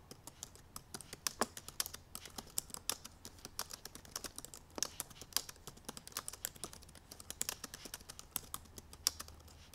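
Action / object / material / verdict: tap / laptop keyboard, plastic keys / plastic / none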